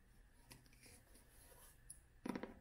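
Long nails scratch softly across the textured cloth cover of an upright vintage hardcover copy of *Last of the Mohicans*, making a faint, dry rasp. The scratching ends in a quick cluster of short, muted taps on the solid cover, each with a dull low-mid knock and almost no ring.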